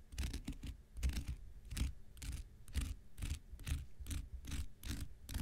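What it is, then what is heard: Cellulose sponge scraped with a knife tip. The blade tip of a metal X-Acto knife is scratched repeatedly across the surface of a rectangular, porous, hand-sized blue cellulose kitchen sponge that is soft and dry and held in one hand. The result is a steady run of short, rasping scratch strokes, each with a bright, airy hiss over a dull low rumble, separated by brief pauses.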